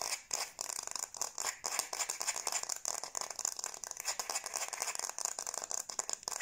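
A light, solid wooden kitchen spoon is held by the handle while long blue-painted nails scratch and rub the back of its bowl. The result is a fast, dense, dry scratching rattle that is bright and hissy, with no low end and each stroke dying away almost instantly.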